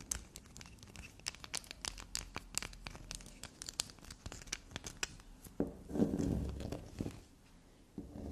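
A small solid black soap bar resting on a fabric surface is scratched, dug into and tapped with long black nails. Quick, irregular, crisp clicks and scratches with bright, crackly edges fill the first half. A louder, denser crumbly scraping swells around the six-second mark before it quiets down.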